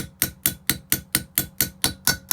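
A socket lightly taps a valve stem seal down onto its valve guide in an Opel Z20LET cylinder head, kept gentle so the seal isn't misshaped. Ten sharp, bright taps sound at a steady pace, each dying away almost instantly, as the note changes to show the seal is fully seated on the guide.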